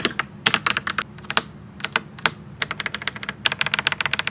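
Fingertips type on a pink and white gasket-mount mechanical keyboard with plastic keycaps resting on a desk. About 26 short, bright clacks arrive in uneven bursts with brief pauses between them. Each keystroke is dry and snappy, with almost no low end and no ring after it.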